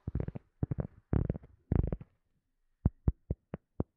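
A round cork coaster held in both hands is tapped and scratched with long nails. Four quick bursts of dull, low, muffled clicking come first, then after a short pause five separate soft taps land evenly spaced with no ring.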